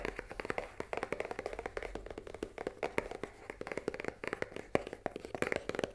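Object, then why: Cardboard pasta box. Long nails tap quickly on the top of a full cardboard pasta box lying on a table, making a fast run of dry, papery clicks with a hollow tone around 420 Hz. Each tap dies away almost at once, with a little bright crispness on top.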